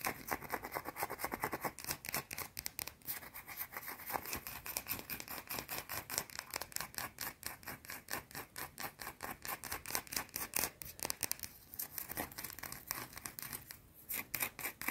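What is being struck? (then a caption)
Small round soap bar. Long nails rapidly scratch a small, solid, round white soap bar held in the fingers, producing a dense run of quick, dry, crisp strokes. The sound is bright and hissy with little low end, and each stroke cuts off almost instantly with no ring.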